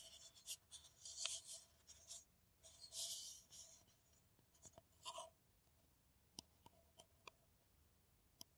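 An empty, hollow kraft paper coffee cup is held in the hands and scratched and tapped with long nails. Bursts of bright, papery scratching come first, then they thin out into a few sharp, isolated taps with short ringing clicks.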